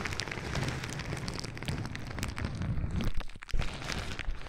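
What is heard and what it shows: A sheet of clear plastic bubble wrap is held against a microphone and crinkled and rubbed with fingertips. It makes a dense, continuous crackling with heavy low, boomy rumble. There is a brief quieter dip near the end before the crackle returns louder.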